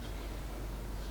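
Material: Nothing is struck.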